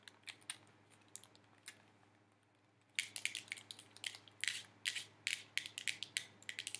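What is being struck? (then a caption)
Plastic handheld game controller. A hollow black plastic handheld game controller grip, held in both hands, is tapped and clicked with fingertips and nails. A few sparse, quiet clicks over the first three seconds give way to a louder, denser run of short, bright, dry ticks and clacks centered near 2.2 kHz that stop almost instantly. A faint steady low hum sits underneath.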